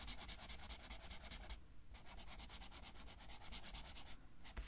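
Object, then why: Felt-tip marker on a paper colouring sheet. A blue felt-tip marker rubs back and forth over a flat paper coloring page lying on a table, filling in a blue area. Quick, bright scratchy strokes run in a steady rhythm over a low hum, with two brief pauses before the strokes resume.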